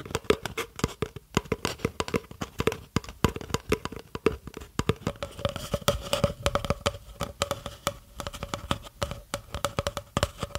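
A long, hollow, empty brown cardboard tube about 30 cm long is held upright in one hand close to the microphone while the long nails and fingertips of the other hand tap and scratch along its side. Quick, dry, closely spaced taps and scratches carry a faint hollow tone that sits a little higher in the second half. Each hit dies away almost instantly.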